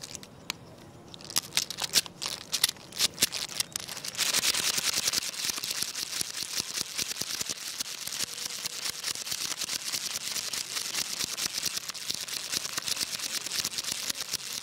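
A long jointed wooden crocodile toy is held up and wiggled by hand, its solid wooden segments giving scattered sharp, bright clicks. It is then swished across a tile floor, and the segments clatter into a dense, steady stream of high, dry clicking that lasts to the end.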